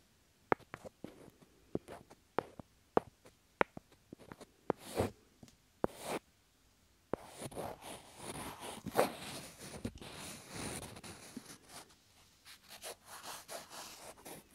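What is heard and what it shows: Two small, solid, light wooden cubes are held by the fingertips right beside the microphone's ear and tapped against each other, giving a series of sharp, dry, separate clicks with no ring for the first six seconds. They are then slid against each other, producing a continuous, bright, rasping scrape with faint knocks until the end.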